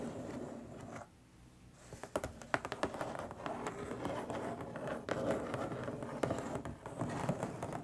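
Long stiletto nails tap rapidly on the top surface of a long, flat, printed, hollow cardboard box. The dry, hollow, papery clicks come in quick, uneven bursts with a brief quiet pause near the one-second mark, then continue steadily with occasional sharper taps.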